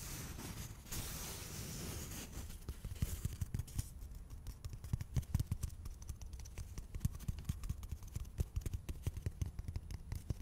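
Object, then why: Cardboard toilet paper tube. A small, hollow, empty cardboard toilet paper tube is held in both hands close to the mic and rubbed and tapped with fingertips and nails. It opens with a few seconds of steady, soft brushing and scratching, then shifts to a long run of quick, dull, low thumps with faint scratchy clicks in between. The taps are short and dry, with no ring.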